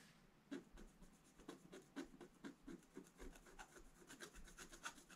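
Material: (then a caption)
Coated paper. A pointed wooden stylus scratches across a black-coated scratch-art paper page in a bound book. After a brief quiet start, a rapid series of short, dry, rasping strokes follows, each a bright scrape with a soft, papery body. The strokes stay quiet and close, with no ring after each one.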